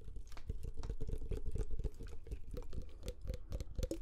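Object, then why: Glass perfume bottle with metal cap. A medium glass perfume bottle with a metal cap and amber liquid inside is held close to the microphones and tapped with short fingernails. The result is a quick, dense run of light clicking taps with low, thumpy body, a faint glassy tone around 500 Hz, and a very short decay.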